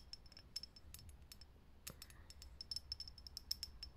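Long nails tap fast on a lit, hollow, clear glass vintage filament light bulb, making a quick run of short, bright, glassy clicks with a high ping. Each tap dies almost instantly over a faint low rumble, and the whole clip stays quiet.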